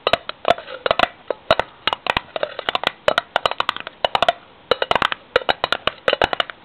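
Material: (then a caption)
Metal. A metal tin is tapped in quick, uneven bursts, giving about 37 short, dry hits with almost no ring. Each tap has a hollow, mid-pitched knock around 700 Hz with bright clicky tops and little low end.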